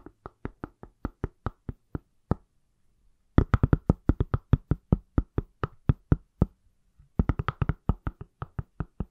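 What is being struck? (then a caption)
Smartphone in a silicone case. Fingertips and nails tap the back of a palm-sized, solid iPhone in a pale silicone/plastic case. The short, dry taps have a low thump and a brief click, with almost no ring. They come in three runs: an even series, a pause, then two faster, denser bursts separated by another short pause.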